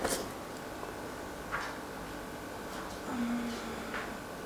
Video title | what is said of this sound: Cómo EVITAR un pan CORTO de FERMENTACIÓN | la que se ha quedado corta no cruje y queda bastante regular